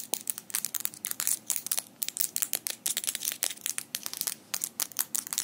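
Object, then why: Metal fingerpicks. Small metal fingerpicks worn on both hands are clicked and rubbed against each other with the fingers interlaced. The result is a rapid, irregular run of bright, crisp clicks and scraping rattles, almost all high-pitched with no low end. Each click dies away almost instantly.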